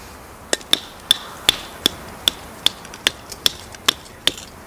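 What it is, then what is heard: Pine kindling stick being split. A gloved hand swings a small hatchet to chop and split a solid, dry pine kindling stick over a pile of light softwood kindling sticks on gravel. About a dozen sharp, dry, bright knocks land at a steady pace, roughly one every 0.4 seconds. Each one cuts off almost instantly with no ring.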